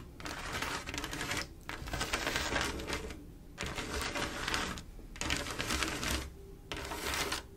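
Long acrylic nails on both hands tap and scratch across a large, solid, flat panel of small silver mirror-glass mosaic tiles set in a swirl pattern with grout lines. The sound comes in bursts of dense, bright clicking and scraping, with short quieter pauses between them.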